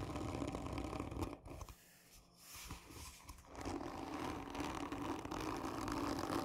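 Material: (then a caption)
Cardboard. Long nails scratch the sides of a hollow, black textured cardboard gift tube, making a dense, rasping scrape with a mid-range body. The scratching eases into a quieter, sparser stretch in the middle before resuming at full, steady intensity.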